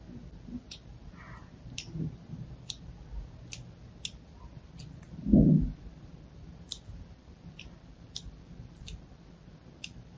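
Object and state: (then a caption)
Bar soap being scored. A thin, needle-like blade held in pink-nailed fingers scratches and scores lines into a solid, palm-sized, pink-and-white striped bar of soap held in one hand. About twelve short, bright clicks tick out across the clip. A duller, louder low thump comes near the middle, over a faint low hum.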